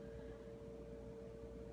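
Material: Nothing is struck.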